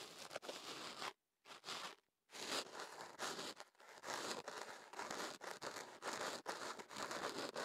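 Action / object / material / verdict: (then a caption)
scrape / kenaf paper tube around a microphone / paper / none. Kenaf paper rolled into a tube around a microphone is held steady while fingertips and a small pick rub, scratch and crinkle at its open end. The result is dense, bright, papery crackling and scraping that carries on almost without a break. Two short silent gaps fall near the one- and two-second marks.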